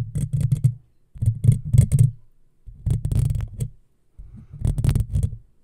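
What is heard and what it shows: Long fingernails scratch a hollow black metal mesh microphone grille in four separate bursts of rapid scratching. Each burst is a deep, muffled, rumbling scrape with faint bright flecks on top, with short silent gaps between the bursts.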